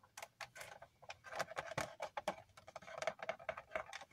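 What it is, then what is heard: Cardboard toy box with plastic window. Fingertips and nails tap lightly on the clear plastic window of a handheld cardboard Funko Pop box with a vinyl figure inside. The result is a quick, irregular run of soft, dry, tick-like clicks with a faint hollow tone around 640 Hz, each dying away almost at once.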